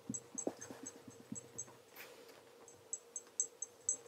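A black leather REGAL tassel loafer is held in one hand while cloth-wrapped fingertips rub its surface to a mirror polish. A run of short, soft rubbing strokes comes with faint high, squeaky tones over a quiet background.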